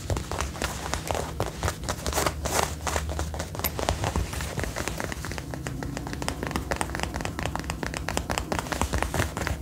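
Fingertips and long nails rapidly tap and scratch the chest and shoulder panel of a worn brown faux leather jacket. The result is a dense stream of short, dry taps and crinkly scrapes over a low steady hum.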